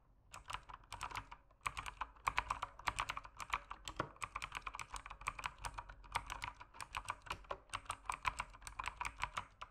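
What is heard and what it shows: Fingertips type continuously on a backlit mechanical keyboard with plastic keycaps, giving a steady stream of short, bright clicky keystrokes. The clacks come in rapid irregular bursts with brief pauses, each strike sharp and dry with almost no ring.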